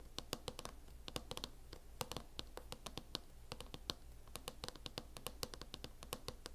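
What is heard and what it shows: Long acrylic nails scratch and tap on a closed laptop in a mint matte plastic hard-shell case. Dozens of quick, bright, clicky taps ring out over a soft, steady scratching texture and a low hum.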